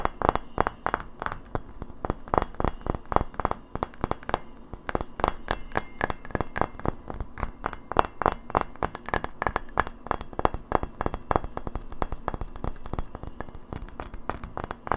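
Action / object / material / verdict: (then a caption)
tap / frosted glass light bulb / glass / none. Long fingernails tap fast on a hollow, hand-sized frosted white glass incandescent bulb with a metal screw base, held in the hand. A steady stream of short, dry glassy clicks with a mid-pitched knock and bright edges sounds for the full fifteen seconds. Each tap dies almost instantly, with no lingering ring.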